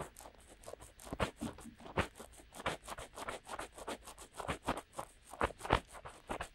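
Fingertips of both hands rub and scratch in and around the openings of the soft, hollow silicone ear-shaped cups on either side of a DuoPop-style binaural microphone with a black body and white ears, mimicking ear cleaning. The result is a quiet, close series of short scratchy, crackling rubs with bright, airy hiss and occasional muffled low thumps.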